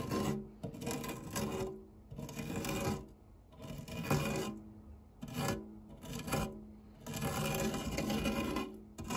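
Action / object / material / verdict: scrape / metal fluted tart tin / metal / none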